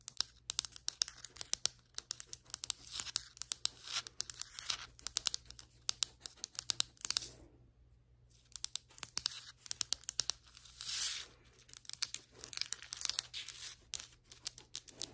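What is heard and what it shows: Long white acrylic nails tap and scratch the surface of solid ceramic floor tiles near the grout, making a dense run of quick, dry, bright clicks and crisp scratching with almost no low end. The tapping pauses briefly around the middle, then resumes with further scratching bursts.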